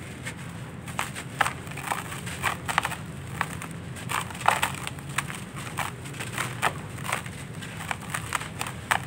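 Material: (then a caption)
Sandy clay. Bare hands squeeze and crumble dry, grainy sandy clay chunks in a red plastic basin, breaking them into loose powder. Repeated short, dry crunching crackles rise over a soft, steady low rustle, with bright gritty bursts at the sharper breaks.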